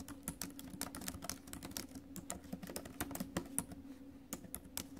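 Fingertips and acrylic nails type quickly on the plastic keys of a silver metal laptop, producing a dense run of short, sharp clicks and taps with bright high edges. Under the taps sits a faint steady low hum.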